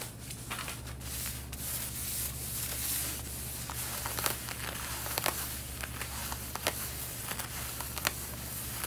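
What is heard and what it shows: Long red-painted nails and fingertips scratch and rub the front waist area of light blue denim jeans being worn. A steady, bright, raspy scratching hiss runs over a low constant hum, broken by scattered sharp ticks as the nails catch the fabric.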